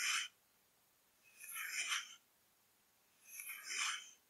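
Long nails tap rapidly on the labelled plastic body of a full 500 ml blue PRIME plastic drink bottle lying on its side. The tapping comes in three quick bursts of bright, crisp clicking: a short one at the start, then two longer runs that swell and fade, with near silence between them.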